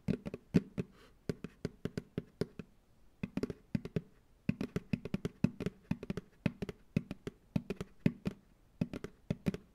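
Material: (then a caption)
Plastic. An empty white plastic ice cream pail sits upside down on a lap, and its hollow bottom is tapped with fingertips and nails. About 45 quick, dry taps come in uneven bursts with short pauses. Each has a low, hollow thump and a faint bright click that dies away almost at once.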